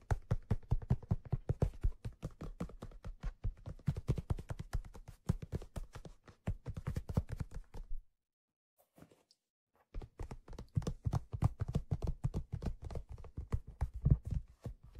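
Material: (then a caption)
Leather. Short-nailed fingertips rapidly tap the stitched leather crown of an empty, hollow black leather fedora turned on its side. The taps are soft, dull and low-pitched, with almost no ring, like quick muffled drumming. They pause into near silence for about two seconds, with only a few faint touches, then resume at the same brisk pace.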